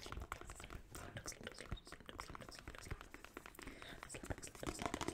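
A thick paperback copy of "Slumdog Millionaire," a solid paper block with a glossy card cover held in one hand, is tapped and scratched by long nails fitted with ornate gold metal nail caps, first along the spine and then across the front cover. Dense, quick clicks and scratchy rasps overlap throughout, with soft dull thuds underneath.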